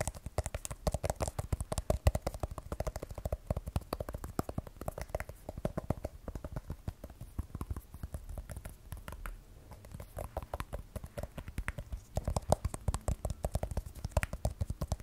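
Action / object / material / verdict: tap / smartphone with glass back and steel frame / glass / none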